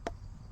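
A single knock on a watermelon gives a short, dull, hollow thump with a mid-pitched tone that dies away almost at once over a low background hum. The sound marks the melon as ripe and just right to eat, ready to be cut.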